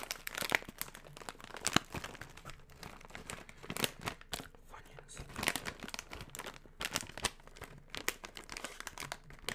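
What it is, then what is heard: Foil snack chip bag. A partly full, medium yellow Funyuns chip bag made of metallized plastic is held, squeezed by fingertips, and crinkled and rubbed close to the microphone. Dense, bright crackling and crinkling bursts rise and fall in quick, uneven clusters over a quiet background, with the sharpest snaps standing out.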